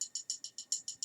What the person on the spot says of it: I tap it in one hand like this. Hear that pitch?